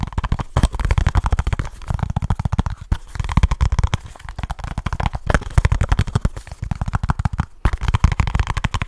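A small kraft cardboard product box, held in both hands, is tapped rapidly with the fingertips and scratched with the nails. The result is a dense, fast patter of hollow, low thumps with brief, brighter scratching rasps between them.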